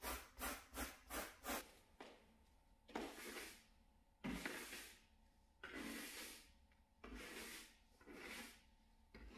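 Fingertips in a blue nitrile glove rub and scratch a small grey shaggy synthetic pile door mat. Five quick, bright scratchy strokes come first, then slower, longer brushing rubs with a soft hiss and quiet gaps between them.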